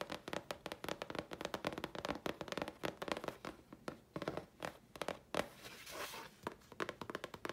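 A thin, flat sheet of grey chipboard about letter size, held upright in both hands, is tapped and scratched with long polished fingernails. Rapid, dry, crisp taps come in quick clusters with almost no ring. Near the end they give way to a brief, breathy scratching sweep before the tapping resumes.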